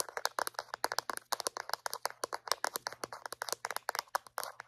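A small white hollow plastic Reach dental floss dispenser is held in one hand and tapped and clicked with long painted acrylic nails. A rapid, uneven run of dozens of short, dry, hollow plastic clicks sounds, each dying away almost instantly, with bright high edges and a faint steady low hum underneath.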